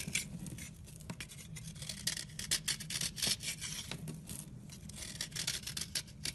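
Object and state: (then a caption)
Dry soap block being scraped. A blade with a red handle scores and scrapes a round block of solid, dry, chalky white soap, which crumbles into flakes. Crisp, bright scratchy strokes repeat in quick, uneven bursts over a faint low hum.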